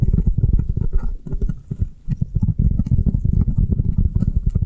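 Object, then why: Foam kitchen sponge. Long nails rapidly tap and scratch the side and faces of a round, avocado-shaped foam kitchen sponge held sideways in the hands. The taps sound as soft, muffled, low thumps that fade almost at once, with a faint brushing scratch between them. The pace is quick and steady, with a short quieter stretch partway through.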